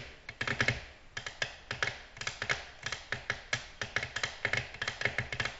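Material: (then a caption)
Glass. Nail tips of long natural nails on both hands tap rapidly on a glossy black glass slab tabletop. About 27 bright, clicky taps come in quick uneven bursts, each with a short, light ring. The taps fade between clusters.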